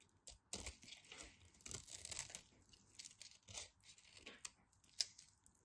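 A craft knife scrapes a solid orange bar of soap and digs out crumbly chunks, making quiet, dry, bright scraping and crunching sounds in uneven bursts. Near the end, a short sharp click stands out.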